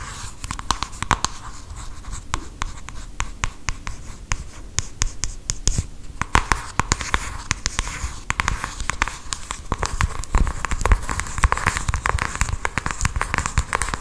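Long acrylic nails scratch and tap across the printed front of a small, hand-sized cardboard cosmetics box. The result is a dense run of quick, dry clicks and scratchy rasps over a faint low rumble, with brief pauses and a slightly busier, sharper stretch toward the end.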